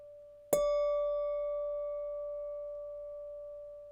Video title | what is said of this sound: Building physics: Lecture 2, Basic Acoustics | You can hear how it's ringing. It's a nice glass, so you get a nice tone for a long time.